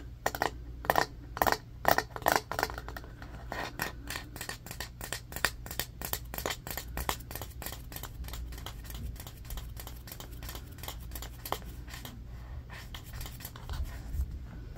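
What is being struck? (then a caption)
Bamboo paddle hairbrush. Short fingernails scratch and tap quickly on the wooden back and edge of a rectangular striped bamboo paddle hairbrush with black bristles, which rests tilted up on carpet. A rapid stream of dry, clicky taps and scrapes is heard, with the loudest bursts in the first couple of seconds before it settles into a steady, even patter over a faint low hum. Each tap dies away almost instantly.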